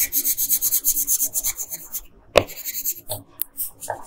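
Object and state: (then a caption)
Colored pencil shading on paper. A pink wooden colored pencil rubs and scratches across a flat paper coloring page, shading in the bodice. Quick bright scratchy strokes repeat steadily for about two seconds, then after a brief pause and a sharp tap, shorter rubbing strokes continue.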